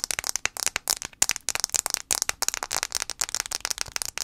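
Fingernails tap rapidly on the glass screen of an iPhone 5c. The taps are quick, sharp, bright clicks with almost no low end and no ring, falling in dense, uneven bursts throughout.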